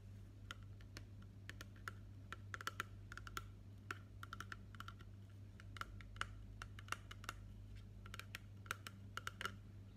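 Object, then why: Plastic spray bottle filled with liquid. A tall green printed plastic body mist bottle labeled Fresh Sparkling Snow, with a white pump cap and filled with liquid, is held upright and tapped with fingernails and fingertips. Quick, irregular, light clicking taps with a bright tick around 1.3 kHz die away almost instantly, over a steady low hum.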